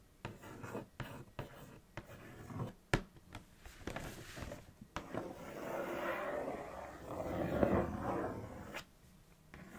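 Long acrylic nails trace and scratch the printed front of a large, thin, hollow Kellogg's Froot Loops cardboard cereal box lying flat. Short, dry scratches and taps come first, then give way to a longer, steady rasping scrape that swells and cuts off near the end, leaving near silence.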